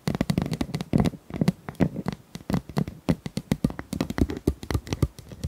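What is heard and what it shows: Long nails scratch and tap along the ribs of a pink, corrugated, hollow plastic pop tube about 25 cm long, held tilted. A rapid, uneven run of dry clicking taps and ridged scrapes sounds with a hollow, low body, each hit dying almost at once.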